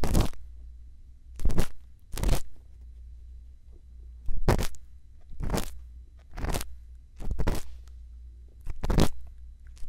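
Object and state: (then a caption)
Silicone ear of a binaural microphone. A thin bamboo earpick scrapes inside the canal of a silicone ear on a binaural microphone while the other hand holds the mic. Short, bright, crunchy scraping bursts come in a spaced series over a steady low hum.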